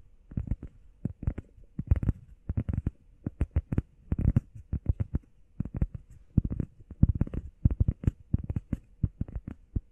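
Long painted nails and fingertips tap and scratch quickly on a solid, hand-sized, flat grey textured EVA foam workout pad shaped like a heart. The result is rapid clusters of soft, dull, low thuds that stop dead after each touch, with faint scratchy texture between them.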